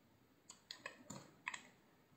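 A hand-sized, solid cream-white soap bar, held in the hand, has slabs carved and shaved off with a utility knife blade. The result is a quick series of crisp, dry clicks and scrapes with bright high-frequency crackle centered near 1 kHz, each cut dying away almost at once.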